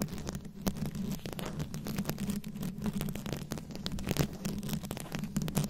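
A fist-sized microphone head fully covered in small round rhinestones, likely plastic, is held close and scratched and tapped with very long acrylic nails. A dense stream of quick scratchy clicks and taps sits over a steady low hum around 137 Hz, with the tapping crackling continuously.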